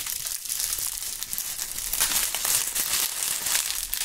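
Bunches of dry brown maple leaves are held in gloved hands close to binaural microphones and crumpled and crushed with the fingertips. A steady, bright crackling crunch with dense papery snaps fills the clip, carrying almost no low end.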